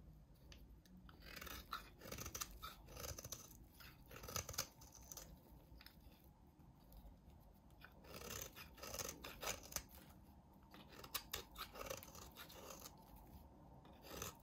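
A utility knife blade scrapes across the face of a solid, hand-sized mint green bar of soap, making a string of crisp, dry scraping crunches. The strokes come in uneven bursts with bright, high rasping edges over a soft, low rustle, each cut stopping short with almost no ring.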